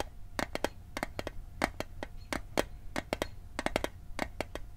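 An Altoids metal mint tin is tapped in quick, uneven bursts, each tap a short, sharp, bright click with a faint metallic tone around 700 Hz. The taps die away almost instantly over a low, steady background rumble.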